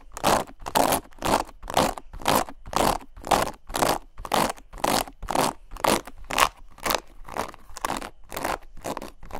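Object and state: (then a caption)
Plastic paddle hairbrush bristles being scratched. Long nails and fingertips scratch quickly across the plastic bristles of a black paddle hairbrush with a leopard-print handle. The result is a steady run of short, bright, crunchy scrapes, about two per second, each stopping dead with no ring.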